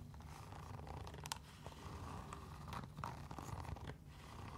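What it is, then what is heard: Mesh fabric sneaker. A mesh fabric sneaker with a blue striped mesh upper and orange laces is held in hand and scratched and tapped along the side with long nails. It makes soft, rustling scratches with light ticks and brief bright clicks over a low steady rumble.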